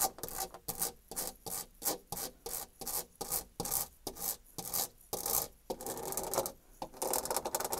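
Long nails scratch fast across a white painted molded panel door with a horizontal embossed wood-grain texture, raking the grooved surface. Quick rasping strokes come one after another, bright and dry with little low end, and they merge into a denser, continuous scratching near the end.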